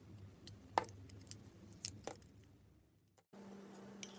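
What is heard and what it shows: A solid red and white bar of soap, held in fingers with long red nails, is sliced and scraped into thin curls with a utility knife blade. Soft, crisp scrapes and sharp little cutting clicks sound over a low, steady hum. The sound drops to near silence for a moment before the hum returns.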